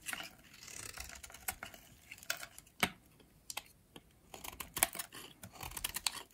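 A metal blade shaves crumbly flakes off the remaining piece of a pink oval bar of solid dry soap. It makes a run of crisp, dry scraping and crackling ticks, mostly bright and high with little low end. Each short snap dies away almost instantly.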